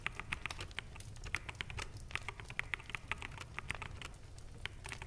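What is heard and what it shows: Fingertips of both hands type on a full-size black mechanical keyboard with plastic keycaps. The result is a quick, uneven run of short, sharp plastic clacks centered around 2 kHz, with bright edges and a soft low rumble underneath. Each click dies away almost instantly, and the overall level stays quiet.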